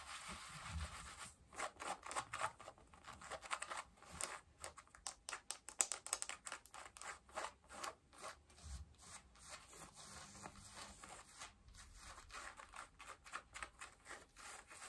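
Long acrylic nails scratch worn blue cotton denim jeans over the soft fabric at the hip and waistband. Quick, dry, bright scratching strokes come in dense bursts and brief pauses, each stroke stopping almost at once, at a quiet, close level.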